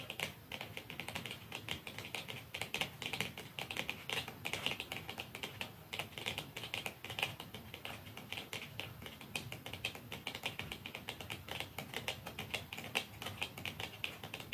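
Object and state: Mascara tube tapped with fingernails.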